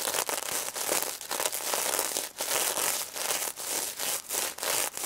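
Long red nails scratch and rub the plastic sequins on a pink sequin-covered stuffed plush pig toy, in close-up. Bright, dry, rustling scrapes come in repeated strokes, separated by brief dips between passes.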